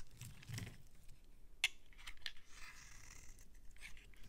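A metal utility-knife blade scrapes across a palm-sized, solid cream-colored bar of soap held in the hand, shaving curls off its surface. Soft, bright, papery scraping and crackling runs throughout at a quiet level, with a sharp crisp click partway through and a second, smaller one just after.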